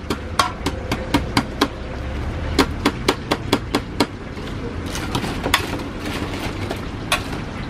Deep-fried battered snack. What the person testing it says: กรอบมากฟังเสียง